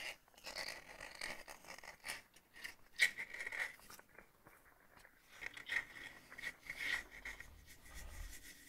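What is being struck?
Glass coffee jar with ribbed plastic screw lid.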